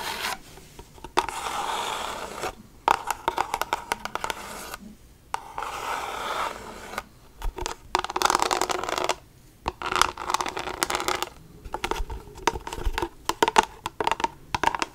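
Long acrylic nails tap and scratch a medium-size, hollow plastic Bath & Body Works hand soap bottle with a pump top that appears used up. Stretches of steady, hissy scratching alternate with bursts of quick, sharp taps, all dry with no ring and centered in the midrange.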